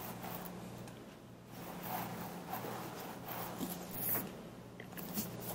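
Fingertips and nails from both hands scratch and rub the scalp of a mannequin head wearing a long black synthetic hair wig, then run through the hair strands. The result is quiet, soft, steady scratching and rustling over a faint low hum, with two brief, brighter crackling bursts near the end.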